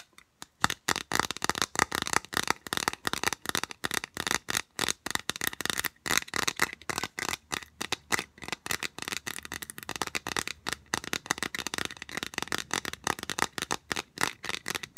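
Long nails tap and scratch rapidly along a long, hollow, rigid white plastic U-channel piece. The result is a dense run of crisp, bright clicks and scrapes that stop dead with no ring.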